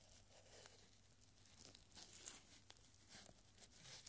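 A small scroll of yellowed paper, a strip reading "One moment at a...", is unrolled and held taut by purple nitrile-gloved fingers, then rolled into a small tube. Soft, bright crinkling and papery rustling come in light, scattered bursts over a faint, steady low hum. The sound stays quiet and close throughout.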